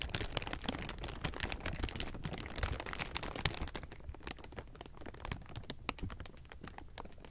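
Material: Plastic.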